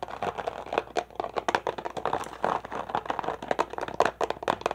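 An empty, crumpled, hollow clear plastic water bottle is held in both hands, squeezed and tapped with fingers and nails. The result is a fast, irregular stream of short, dry crinkles and sharp tapping clicks with a hollow plastic tone around 700 Hz. Each sound dies away almost at once.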